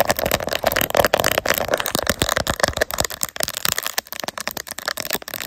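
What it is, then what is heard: Plastic phone case with resin bears. Long nails rapidly tap and scratch the raised resin gummy bears on a clear plastic phone case mounted on a tripod. The result is a dense run of sharp, dry clicks and bright scratchy rasps with a plasticky tone around 570 Hz, each tap dying away almost instantly.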